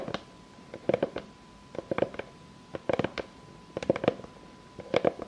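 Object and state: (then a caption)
Wooden board tapped with fingernails. Long fake nails tap and scratch on a solid, round board of light unfinished pine with knots, lying flat. Quick clusters of dry, clicky taps with brief scratches come in bursts about once a second, each dying away almost instantly over a faint steady hum.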